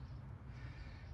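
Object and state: Nothing is struck.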